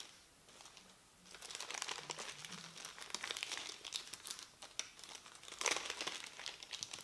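A thin, crumpled printed paper leaflet is rubbed and folded on a table with the fingertips. After about a second of near silence, dense, bright crinkling starts and continues in overlapping bursts, peaking sharply near the end.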